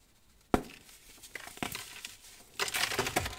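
Fingertips with painted nails squeeze a solid, palm-sized clump of dry green-dyed baking soda from a pile, crushing it into powder. A sharp crack opens the sound, followed by soft, crisp crunching and crinkling, then a louder, dense burst of bright, gritty crumbling as the clump breaks apart.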